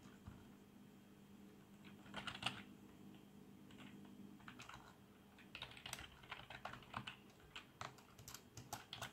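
Fingertips press and tap the keys of a black plastic membrane keyboard with RGB backlight, first with one hand and then with both. Soft, muffled keystrokes come in irregular bursts with bright clicky edges over a faint steady low hum, growing busier in the second half.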